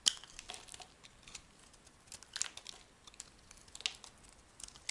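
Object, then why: Bar of soap scraped with a metal blade. A rectangular solid tan soap bar, held in the hand, is scraped with a metal blade into thin curled flakes. The quiet, bright scraping comes in a steady run of crisp crinkling and crunching strokes with sharp, short clicks and almost no low end.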